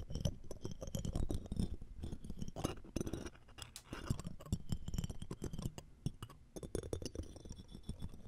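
The metal mesh grille of the right microphone is scratched with a looped metal ear-pick tool, with metal tweezers held alongside and a jeweled earring frame nearby. Dense, rapid scratching and faint clinking run continuously with many short taps. The sound is low-heavy, with thin bright metallic glints above.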